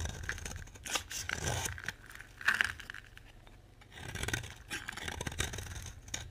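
A utility knife scrapes and carves crumbly shavings from a solid oval orange bar of dry soap held in the hand. Dry, gritty scraping strokes with bright, crackly edges come in bursts, pausing briefly near the middle before resuming.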